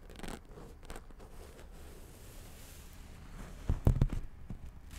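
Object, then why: Paperback book with cardboard cover. Long acrylic nails tap and scratch the top edge and glossy cardboard cover of a purple paperback book, a solid block of paper, held close. Quiet, dry scratching rustles for most of the clip. A short burst of sharper, dull taps with a low thump comes near the end.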